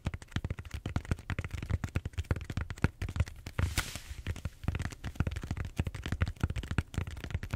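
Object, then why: Bead-foam roller. A large purple bead-foam styrofoam roller is held horizontally while nails scratch and tap its surface. The result is a rapid, irregular stream of short, dry, low-thumping taps and scrapes, with a brief bright scratchy hiss near the middle.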